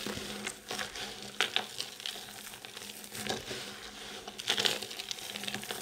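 Hands scoop up a fine, crumbly pile of multicoloured dry soap shavings, squeeze it and let it crumble back down. The sound is a steady, bright, dry crackling and crinkling, with a few sharper, louder crunches as the pile is squeezed.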